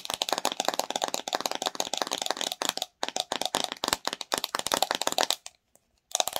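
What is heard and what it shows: Long nails rapidly tap and scratch the white plastic lid and body of a pink-filled plastic watermelon slime jar. The result is a dense stream of sharp, bright, clicky taps with a hollow plastic ring and no low end. The tapping pauses briefly near the three-second mark, then again for about half a second before resuming at the end.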